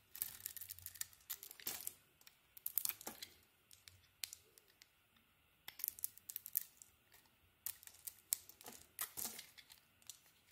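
A metal utility blade shaves a solid blue and green bar of soap, mostly carved down to the green, with curls falling off. Quiet, crisp, bright scraping and crackling comes in short, irregular bursts with brief silences between strokes.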